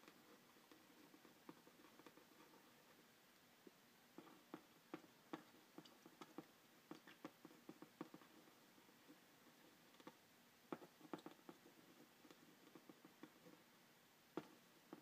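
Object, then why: Printed cardboard box scratched with a pen tip. A pen tip traces and scratches across the printed front panel of a hollow cardboard packaging box for a phone stand, held in one hand. A quiet, steady papery scratching runs throughout, with a dull, boxy hollow tone, and about fourteen sharp little clicks and ticks stand out where the tip catches or taps the cardboard.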